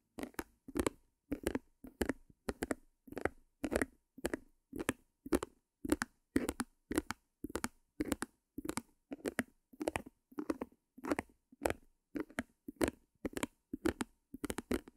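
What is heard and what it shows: A small white stretched canvas, held upright, is tapped and scratched on its front with long nails. It makes a steady run of short, dry, papery bursts with a hollow low-mid body, each dying away almost at once between quiet gaps.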